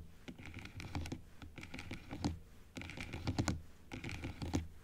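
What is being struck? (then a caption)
Plastic dental teeth model. Long acrylic nails tap along the teeth of a large plastic dental model that stands opened upright, moving across the arch. Quick, light clicky taps come in irregular bursts with short gaps, each tap dry and brief over a low, dull body tone with bright edges.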